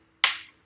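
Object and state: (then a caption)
Cured gel nail-art hinge, hard and fully cured. A miniature nail-art hinge made of cured gel is tapped after curing and before bending, giving a single sharp, bright click with a quick decay. The click shows the gel has cured hard, so the poster putty underneath can be removed and the hinge closed.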